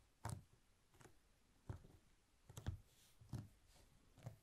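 Fingertips of both hands press and roll a long, thin candle made of rolled honeycomb beeswax sheet along its length on a white cloth over a wooden table. A series of soft, sticky clicks and dull low taps repeats at roughly regular intervals over quiet background.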